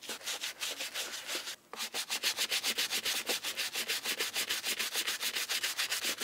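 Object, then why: Leather shoe scrubbed with a bristle brush. A black-gloved hand holds a brown leather shoe with a buckle strap and scrubs it with a round-headed bristle brush through white cleaning foam. The bright, hissy scrubbing strokes come in quick, steady back-and-forth bursts, pause briefly, then continue at an even pace.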